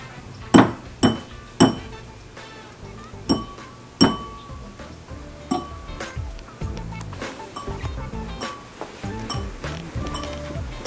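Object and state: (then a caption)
Empty wine glass tapped. An empty wine glass is tapped to make a sound effect of a character tapping on glass, giving bright, ringing clinks that fade quickly, with music playing underneath. The clink is judged not quite right, and water is to be added to the glass so it sounds more underwater.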